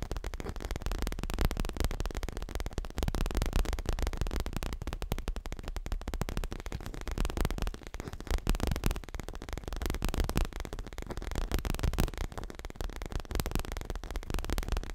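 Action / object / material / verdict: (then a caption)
tap / stuffed leather cushion / leather / none. Fingertips and nails tap and scratch quickly on a medium, square, dark grey leather throw pillow that is soft, stuffed and held upright. The result is a dense, continuous stream of soft, dull taps and scuffs, mostly low and muffled with little brightness, with short bursts of quicker tapping throughout.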